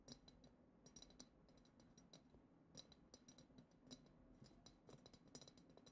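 Long acrylic nails tap the bowl of a hollow, clear glass goblet-shaped vessel decorated with silver glitter swirls. A quiet, rapid, irregular series of sharp, bright clicks and ticks is heard, each dying away almost at once over a soft low background hum.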